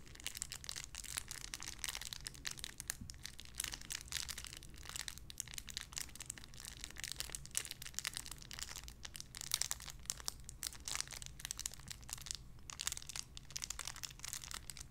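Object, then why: Thin clear plastic bag. A small clear plastic bag wrapped around a small white figurine is crinkled and squeezed between fingertips with long red nails. The result is a dense, continuous run of bright, crackling crinkles and sharp snaps over a faint, steady low hum.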